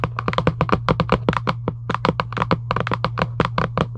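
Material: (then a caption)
Cardboard. Long acrylic nails tap rapidly on the lid of a giant UNO cardboard box lying flat, making about two dozen short, dry, clicky taps. The taps die away almost instantly over a steady low hum.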